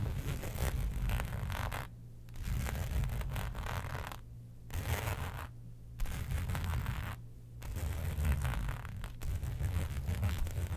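Long pointed nails scratch the textured surface of a flat black embossed faux leather sheet lying on a fur rug. Dense, raspy scratching comes in bursts separated by several brief pauses, over a steady low rumble.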